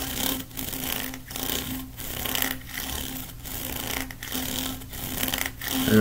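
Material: Plastic.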